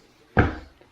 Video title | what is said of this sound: Why Is This House Moving?! | it sounds solid you don't hear that Echo sound